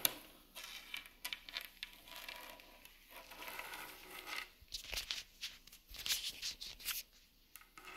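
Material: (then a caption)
Wood. Long nails and fingertips tap and scratch along the grain of a large, solid, rustic wooden plank table top with seams. Quiet, bright, dry scraping and crisp clicking taps come in uneven bursts, with almost no low end. Each tap dies away almost instantly.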